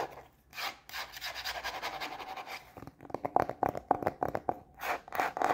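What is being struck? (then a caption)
Plastic cutting board. Long manicured nails scratch and tap the empty face of a thin, solid white plastic cutting board with a red rubber edge, held upright in both hands. For the first half, a steady, airy scratching and rubbing hisses across the surface. Then it gives way to a fast, uneven run of sharp taps, each with a short plastic ring near 750 Hz.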